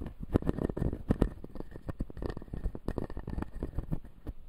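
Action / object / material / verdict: tap / acrylic jaw model with resin teeth / plastic / none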